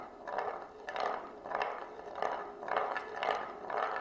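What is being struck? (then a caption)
Wooden plate and glass marble. A single glass marble rolls around the grooved rim of a shallow oval wooden serving plate, held in both hands and tilted. The result is a continuous midrange rolling and scraping rumble that swells and fades in a steady rhythm as the marble circles the groove.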